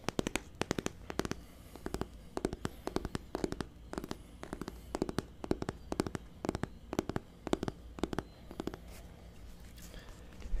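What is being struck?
Hardcover book with embossed cover.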